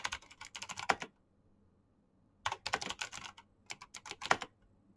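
Fingertips type fast on a black plastic mechanical keyboard with clicky switches. Three quick bursts of sharp, bright clicks are separated by short pauses, with each keystroke dying away almost instantly.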